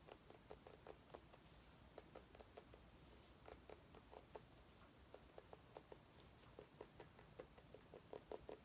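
A small, orange, ribbed mini pumpkin with glossy skin, possibly artificial, is held in both hands and tapped and scratched with painted fingernails. A quick, irregular patter of short, dry, hollow taps centered near 470 Hz sounds over a soft scratchy hiss. The taps stop instantly with no ring.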